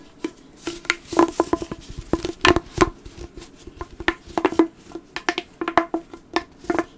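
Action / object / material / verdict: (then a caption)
scrape / corrugated plastic pop tube / plastic / none. A hollow, blue corrugated plastic pop tube is compressed and bent in the hands while fingertips scratch and squeeze its ribbed surface. It makes a rapid, irregular series of sharp pops and clicks with a hollow tone around 330 Hz, and bright crackles between them. Each pop dies away almost instantly, leaving a dry, close, crackling texture.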